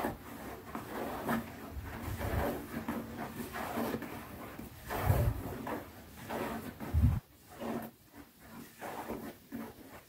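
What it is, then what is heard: Leather zip pouch. Long nails slowly scratch and tap across the top of a small, closed black pebbled-leather zippered pouch held on the fingertips. Soft, dry rubbing scratches run throughout, broken by a few louder, low, dull thumps.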